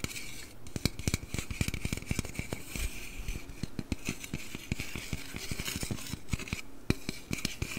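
A slim aluminum Red Bull can, tilted to show its bottom and top, is tapped and scratched with nails and fingertips close to the mic. The result is a rapid, steady series of short, crisp clicks and low hollow thumps that die away almost instantly, over a soft, bright scratching hiss.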